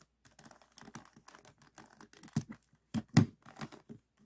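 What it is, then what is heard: Plastic puzzle cube being twisted. Fingertips twist the layers of a small, solid, stickerless plastic 3x3 puzzle cube with orange, green and red faces, held in both hands. The turns make a quick, irregular run of soft, dull clicks and rattles, with a few louder snaps near the end. Each click stops almost instantly.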